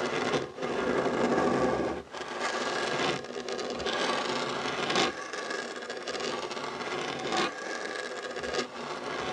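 Short nails and fingertips scratch a solid, dark wooden tabletop beside a fabric heart coaster. The scratching is a steady, dry rasping with a mid-range texture and a lighter bright edge, broken by brief pauses and strokes that shift in intensity.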